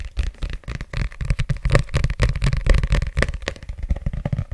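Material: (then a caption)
Paper. Fingertips and nails tap and scratch the back cover of a thick, solid red paperback book with a glossy cover and a barcode, held up close to the mic. A quick, uneven run of soft, deep thuds mixes with faint scratchy rustling, each tap dying away almost at once.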